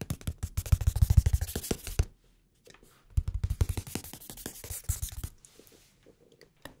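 A blue hardcover notebook held flat between the microphones has its cover tapped and scratched with fingertips and nails. Quick, dry, low-pitched taps and scrapes come in a dense run for about two seconds, pause, resume in a second flurry, then trail off into a few scattered taps.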